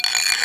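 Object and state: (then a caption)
Bonded floor tile. A steel item is rubbed over a bonded area of a tile floor, producing a bright, high-pitched rattling scrape with most of its energy above 2 kHz and little low end. The high pitch shows that this part of the tile is properly bonded.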